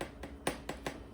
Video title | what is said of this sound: White Chocolate Creme Brulee with Raspberries | It's like tapping on glass.